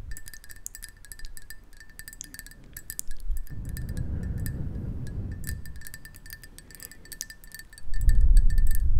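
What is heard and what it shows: A hollow black ceramic mug is held close and tapped rapidly with long nails, giving a quick stream of bright, chime-like clinks with a steady ringing tone. Low muffled rumbles swell under the tapping midway through and again more loudly near the end.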